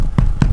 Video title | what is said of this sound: Thor's Hammer slow cooked in a South African Potjie over charcoal in the Flat Out Fire Pit. | that's how you know your damper is Right hear that dull thud on it